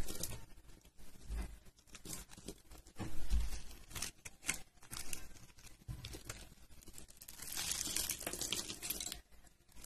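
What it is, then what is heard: Dry soap bar being cut. A thin metal utility blade cuts and scrapes a solid brown bar of dry soap, held in a hand with purple-painted nails, into slices and cubes. The result is a steady run of dry, crunchy cutting and scraping sounds with brief, bright crackles over a low, soft rumble.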